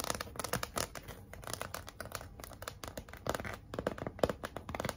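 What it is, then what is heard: Cardboard sign with glitter lettering. Long nails scratch across the red glitter lettering and smooth surface of a large, flat, pink heart-shaped cardboard sign. The result is a quiet, dense run of quick, dry, crackly scrapes and short ticks, centered in the low-mid range with brief bright edges.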